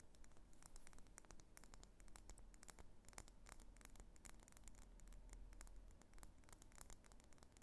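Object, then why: Wax pillar candle tapped and scratched with fingernails. A medium solid pink wax pillar candle is held in the hands while long nails tap and scratch along its wax sides. Quick, dry, bright clicks and soft scraping strokes come in a steady, dense stream over a faint low hum. The taps are short and dull, with almost no ring.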